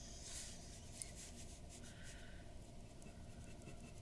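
A glass dip pen's metal nib scratches short ink strokes near the mouth of a drawing on flat white drawing paper resting on a wooden desk, with the pen staying on the paper throughout. Quiet, dry scratching and rubbing sits over a steady low background hum, with bright bursts of scratch and one brief sharp tick about a second in.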